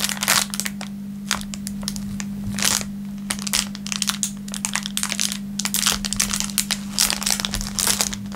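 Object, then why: Thin clear plastic film wrapper. An empty, thin clear plastic film packaging bag is stretched, crumpled and crinkled between the fingertips. Dense bursts of bright, sharp crackling rise and fall over the full clip, with quieter stretches between the louder handfuls. A steady low hum near 200 Hz runs underneath throughout.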